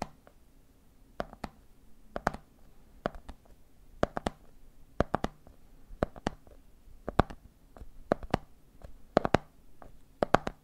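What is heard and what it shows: Fingertips tap the top of a red plastic lid and fingers tap the side of a medium clear plastic jar full of peanuts. About two dozen short, dry clicks come in quick clusters of two or three, each dying away almost instantly. A faint, steady low hum runs underneath.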